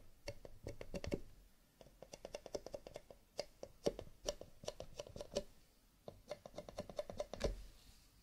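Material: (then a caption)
Cardboard. Rapid fingertip tapping on cardboard paper cups, with light scratching. It makes a quick, clicky patter like typing, with short dry taps that have a hollow mid tone and come in bursts separated by brief pauses.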